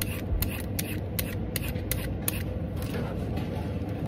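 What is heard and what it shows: A large, solid raw orange carrot is held in the hand above the peelings while a vegetable peeler strokes along it, shaving off strips. About seven short, bright scraping strokes cut through a low, steady background rumble.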